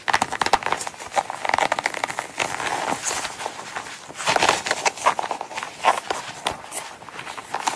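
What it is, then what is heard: Coated canvas wallet. Long nails scratch and tap the front and zipper side of a small, closed Coach coated-canvas zip wallet as it is held and laid on a mat. The result is a dense run of dry, crisp clicks and raspy scratches with a bright, papery crackle and almost no low end. Each tap stops almost instantly.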